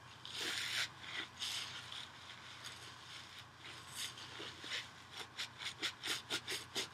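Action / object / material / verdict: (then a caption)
scrape / nylon scouring pad / nylon / none. A small, thin, flat green nylon scouring pad is held over a bowl and rubbed and scratched with fingernails. Bright, dry rasping comes in longer strokes at first, then speeds up into a quick run of short, scratchy bursts toward the end.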